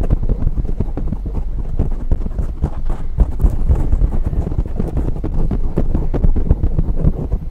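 Fingertips and long nails of both hands rapidly scratch and tap a dark grey foam windscreen on a silver microphone. The result is a dense, continuous stream of deep, muffled thumps and rustling scrapes, heavy in low rumble with almost no bright content, each tap dying away quickly.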